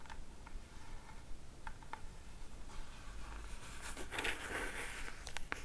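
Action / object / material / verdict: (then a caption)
tap / small cardboard box / cardboard / none. A small pink Hey Happiness cardboard jewelry box with a gold logo is held in the hands and tapped with long matte black nails. Soft, sharp taps and light scratches sound over a low background rumble, with a brighter rustling, crinkling stretch near the end.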